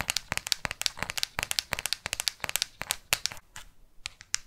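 Long artificial nails tap and scratch the matte plastic back of a black smartphone held in both hands. There are 26 sharp, bright clicks with scratchy crackle between them and almost no low end; they thin out and grow quieter toward the end.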